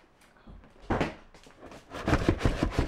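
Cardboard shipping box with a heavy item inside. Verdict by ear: Loose.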